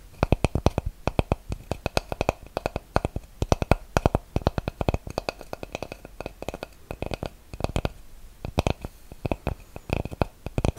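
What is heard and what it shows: A flat, solid, round light-wood disc is held against a microphone and tapped and scratched with fingernails. Quick bursts of short, dry taps with a deep, close thump alternate with softer scratching between them. Each tap dies away almost instantly, with no ring.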